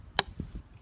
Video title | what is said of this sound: How to make maple syrup 4k video | tap till you hear a real dull thud. You'll hear it coming.